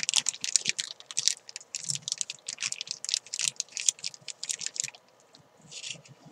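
Fingers with long nails stretch, crinkle and tap a clear plastic zip bag with chalk inside. The result is a rapid run of bright, crackly crinkles and light taps that fades at the end into a softer high rustle.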